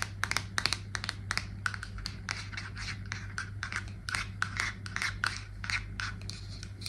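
A hollow aluminium Batiste dry shampoo aerosol can with a plastic cap is held in the hands and tapped and scratched with long nails. Rapid, sharp, dry clicks and scratchy scrapes sound with almost no ring, over a steady low hum.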